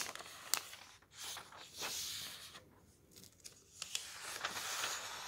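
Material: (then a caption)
Paper. A thick softcover book of thin printed paper pages lies open on a table while bare fingertips slide over and turn the pages and a flat hand rubs across the open page. The result is soft, airy, high-pitched rustling and swishing sweeps, punctuated by a few sharp, brief paper ticks.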